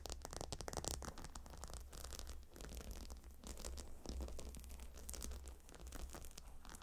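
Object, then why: Gemstone hot stone pillow with stone tiles and leather edge. Long nails scratch across the stone tiles of a gemstone hot stone pillow and run along its leather edge, making a steady stream of quick, dry scratching and rasping strokes. A constant low hum sits underneath the bright scratches throughout.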